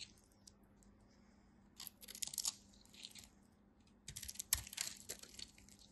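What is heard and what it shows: A hand-sized, solid orange bar of soap with a scored crosshatch surface is held in the fingers and scraped and carved with a utility knife blade, shaving off crumbly flakes. Crisp, bright scratching and crunching comes in two bursts of rapid scrapes. Faint quiet gaps and a low steady hum sit between them.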